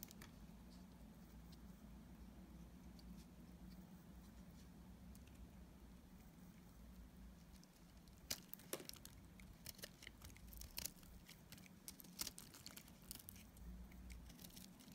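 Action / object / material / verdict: scrape / solid soap bar / soap / none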